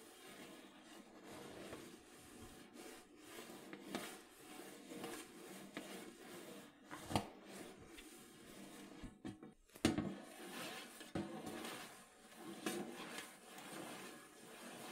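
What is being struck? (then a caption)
Metal cookie tin lid. Long acrylic nails scratch and rub across the lid of a large, round, hollow metal cookie tin lying flat. The result is a quiet, steady, papery scratching and rubbing with a low-mid hum, broken by a few sharper, louder scrapes and clicks.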